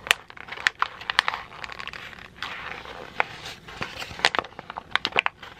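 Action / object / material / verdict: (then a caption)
scrape / sheet of printer paper / paper / none. A heavily wrinkled sheet of white printer paper is twisted, crumpled and pulled flat with both hands. Sharp, bright crackles and crinkles pop out over a steady papery rustle, with almost no low end.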